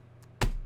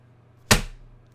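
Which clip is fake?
The second.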